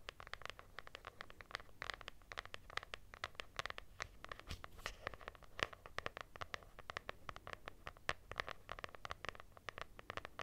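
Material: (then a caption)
Cloth. Long nails scratch across the textured cloth cover of a lilac hardcover notebook with a solid paper block. The result is a quiet, steady stream of quick, dry scratching clicks with a bright edge that stops short with no ring.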